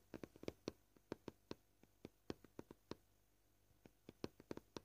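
Short painted fingernails tap a flat, solid, white, scratched plastic cutting board. About twenty quiet, dry, clicky taps come at an uneven pace, each with a bright attack and a brief hollow body around 350 Hz. Every tap dies away almost instantly.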